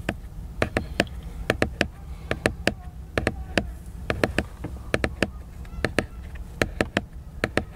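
Fingertips tap and scratch the glossy laminated paper cover of a large picture book. Sharp, dry clicking taps come in an irregular rapid series, each dying away almost instantly, over a soft, steady low rumble with faint scratching between them.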